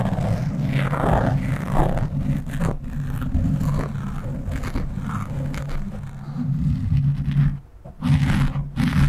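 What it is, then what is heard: Foam microphone windscreen being scratched. Fingers scratch and rub the sides and top of a black foam windscreen on a microphone. The result is a dense, continuous low rumbling scrape that is heavy in the bass, with a brief near-silent dip before the rubbing resumes.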